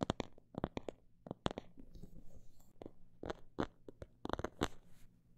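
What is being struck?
Faux leather pouch.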